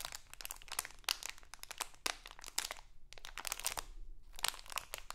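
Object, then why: Thin plastic candy bag. A small printed crinkly plastic Halloween candy bag is held in both hands and crinkled and scratched with long acrylic nails. The result is a dense run of sharp, bright crackles and crunches that comes and goes, with a few brief pauses between bursts.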